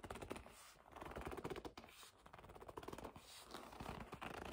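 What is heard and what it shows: A hollow black leather bag is held in the hands while long nails tap and rub across its leather surface. Quick, dry taps mix with scratchy rubbing, close and fairly quiet, with a low hollow body under brighter scraping textures.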